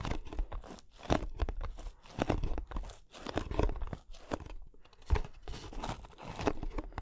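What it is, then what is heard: Cardboard box. A small, closed, hollow kraft cardboard box is held in both hands close to the microphone while fingertips tap and scratch its surfaces. Dense, uneven bursts of dull, low, hollow thumps mix with crunchy, crinkling scrapes that stop quickly with almost no ring.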